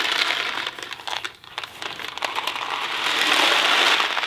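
A thin cardboard Kraft macaroni & cheese box filled with dry pasta is held in two hands, then one, and tilted and shaken. The dry pasta makes a bright, crackly rattle, with a quieter lull near the middle before it builds into a dense, steady rush of rattling at the end.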